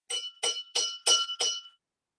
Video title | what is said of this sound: SCIENCE_FLIP TEACHING_NOV 30 | container full of water